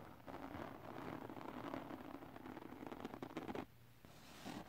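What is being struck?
Glitter paper sheet.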